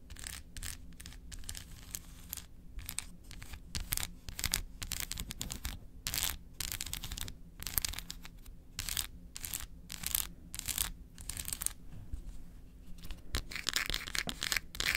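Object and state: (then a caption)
Milk chocolate bar. Long acrylic nails rapidly tap and scratch the surface of a large solid milk chocolate bar held in the hands. The result is a dense, fast run of crisp, dry clicks and scrapes with bright high-frequency edges, each dying away almost instantly, over a low steady hum.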